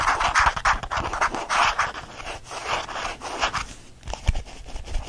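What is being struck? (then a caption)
Faux leather change purse. A small lilac faux leather change purse is scratched with fingernails and squeezed in the hand. Fast, irregular bursts of rough, raspy scratching fill the clip, with a brief dull thump near the end.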